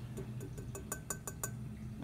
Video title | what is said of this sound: Coldwater GE Four Way Signal - Latest Addition to the Basement Intersection | you can hear the glass sound when I tap it